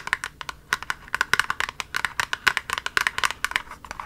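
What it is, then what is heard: Cardboard box. Long nails rapidly tap and scratch on a small, hollow, pink printed cardboard cosmetic box, producing about 23 quick, dry clicks with short crinkly scrapes between them. Each tap is crisp and bright, centered around 1 kHz, with almost no low end, and dies away instantly.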